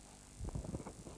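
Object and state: Nothing is struck.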